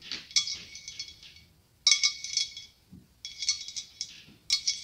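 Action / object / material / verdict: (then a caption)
tap / hollow blown glass pumpkin / glass / none. Long acrylic nails tap and scratch a large hollow ribbed white blown glass pumpkin with a clear glass stem. Bursts of bright, glassy clinks and scratchy rattling come in quick clusters separated by short pauses. Each tap gives a high, brief ring that dies away almost at once.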